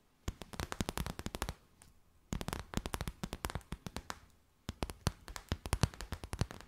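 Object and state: Plastic bag.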